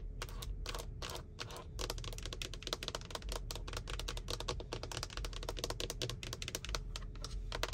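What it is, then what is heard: Plastic steering wheel airbag cover. Long white-tipped nails tap and scratch on a car steering wheel's centre airbag cover, a large hollow moulded plastic panel with a matte textured finish. The result is a fast, steady stream of short, dry, clicky taps with a faint scratchy texture, and a low rumble and a faint constant tone run underneath.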